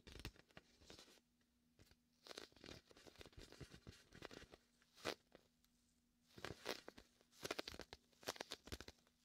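Fingertips press and peel off the tacky surface of a large, hollow, air-filled red and white inflatable vinyl (PVC) beach ball held beside a binaural mic, producing sticky rubbing and scratching. Quiet bursts of bright, crackly peeling and tearing noise come in clusters separated by near-silent gaps, with a faint steady low hum underneath.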